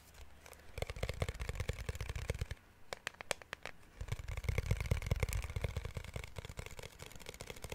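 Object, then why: Glass protective case. A glass protective case is tapped with quick, irregular fingertip-style taps in two bursts, with a sparser, quieter stretch in the middle. Each tap is a short, dry knock with a low thud and a faint bright click that dies away almost instantly.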